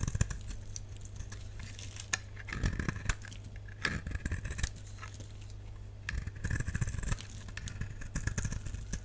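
A dry, solid purple bar of soap, held in the hand, is scraped and cut with a utility knife blade, breaking off shavings. The clip carries dry, crackly scraping bursts over a steady low hum.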